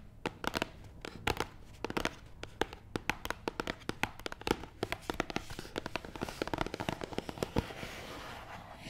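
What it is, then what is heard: Cardboard box tapped with nails. Long nails tap quickly on top of a long, hollow, black matte cardboard box. The result is a rapid, irregular stream of sharp, dry clicks with almost no ring, each with a faint hollow body. Toward the end the taps blur into a denser, slightly rougher patter.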